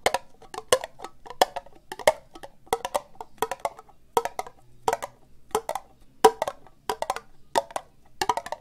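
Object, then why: Ribbed plastic cup. Fingernails slowly tap an empty, hollow orange ribbed plastic cup held sideways. Short, dry, hollow clicks with a midrange tone and almost no ring come in small clustered bursts, roughly every 0.7 seconds at an uneven pace. Faint high ticks ride on top of each tap.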